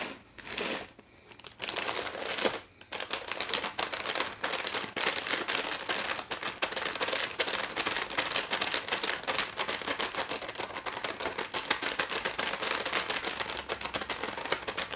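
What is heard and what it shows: Long nails tap and scratch rapidly across a small, full, sealed clear plastic package of La Moderna dry pasta shells lying on a wooden tray. A few short crinkly bursts separated by brief pauses give way to a dense, continuous stream of bright plastic rustling and clicking. The shells rattle faintly inside.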